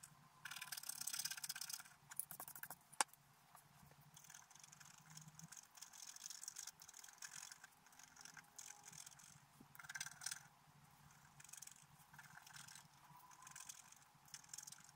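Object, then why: Black-coated scratch-art paper card scraped with a bamboo stylus. A bamboo stylus scrapes the centre flower of a flat, black-coated scratch-art paper card. Quiet, bright, dry scratching comes in bursts of short strokes throughout, with a sharp click near the three-second mark.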